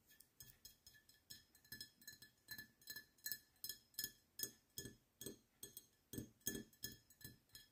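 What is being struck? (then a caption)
Glass beer bottle. A glass beer bottle is tapped repeatedly in a quick, uneven rhythm, giving bright clinking glass sounds with a steady high ring near 1.7 kHz and very short decays. About two dozen separate taps are heard, some landing harder with a fuller low thump.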